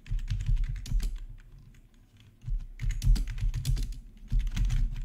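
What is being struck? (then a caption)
Plastic membrane computer keyboard. Fingertips of both hands type on a full-size black plastic membrane gaming keyboard with RGB backlight and a hollow housing, resting on a marble surface. Rapid, dull, low-pitched thocky taps come in bursts, with a brief softer lull in the middle before fast typing resumes.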